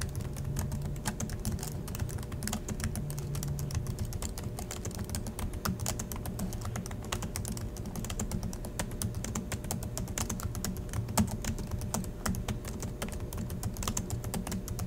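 Both hands type steadily with their fingertips on the black plastic chiclet keys of a silver Acer laptop resting on a desk in dim light. A rapid, continuous stream of short, dry clicks and taps is heard, with no ringing after each press. A steady low hum runs underneath at an even level throughout.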